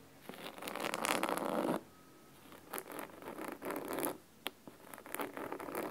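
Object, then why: Cloth-covered hardcover book. Fingernails scratch quickly on the cloth spine and top edge of a large, thick, solid red fabric-covered hardcover book. The result is bursts of dry, rasping scratching with a soft mid-range texture and bright edges, broken by short quiet pauses.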